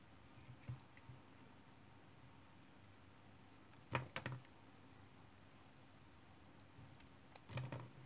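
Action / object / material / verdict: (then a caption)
scrape / bar of soap cut with a metal knife blade / soap / none. A solid rectangular white bar of soap, held in the hand, is carved and scraped with the metal blade of a yellow utility knife, and the curls fall onto a wooden table. Short, crisp scraping and shaving bursts come in small clusters, with quiet pauses and a faint low hum between them.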